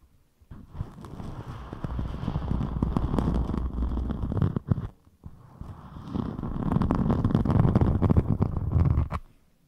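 A thin, flexible rainbow glitter foam (EVA-style) craft sheet is held up and scratched and rubbed with long metallic nails. Two sustained passes of dense, crackly rubbing are heard, each running about four seconds with a short pause between them. The texture is full and bass-heavy with fine scratchy detail on top.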